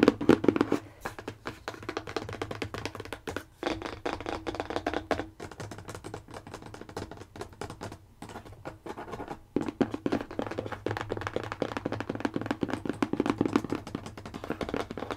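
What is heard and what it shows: Long painted nails and fingertips tap and scratch along the top edge and front of a large, hollow, printed cardboard box for a TinkL Motor Machines toy held upright. The result is a quiet, rapid, irregular run of dull, hollow midrange taps mixed with soft scratching. It is densest at the start and again after about ten seconds, with brief pauses in between.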